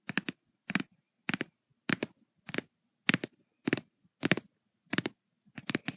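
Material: Paper.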